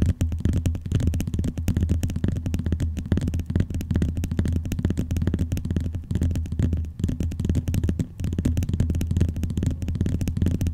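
Fingernails tap rapidly on the lower cover of a closed, blue, glossy vinyl binder. The result is a dense, continuous patter of short, dull clicks with a low, thumpy body around 86 Hz and almost no high brightness. Each tap dies away almost instantly.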